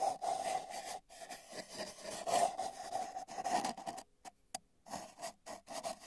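A paintbrush's bristles brush near the right end of a long, hollow, spiral-wound cardboard tube with a microphone inside. Soft scratchy rubbing strokes take on a hollow, resonant tone from the tube. They pause briefly around one second and go quiet for most of a second near four seconds before resuming.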